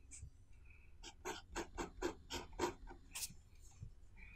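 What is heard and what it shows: A hand writes Chinese characters with a blue ballpoint or fountain pen on an open white paper notebook lying flat on a wooden table, while the other hand holds the page flat. The nib makes a quick, uneven series of short, bright, scratchy strokes across the paper. The last stroke is a sharper, higher rasp, followed by faint quiet scratches.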